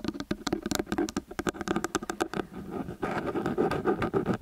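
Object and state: Metal stereo microphone.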